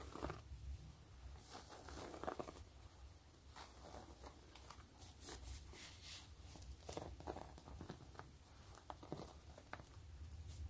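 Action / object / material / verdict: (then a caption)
tap / quilted faux leather wallet / faux leather / none. Long glittery nails tap and scratch the stitched top of a closed, long gray quilted wallet with a pebbled faux-leather surface. Soft, quick taps and dry scratching strokes sit over a low background rumble, each short tap cut off almost at once with a brief bright edge.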